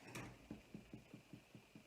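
A freshly baked oatmeal-honey bread loaf, just out of the oven, is knocked to check for doneness. Eight soft, dull, hollow thuds are heard, the first one brighter and the rest evenly spaced and low-pitched. The hollow sound indicates the loaf is baked through.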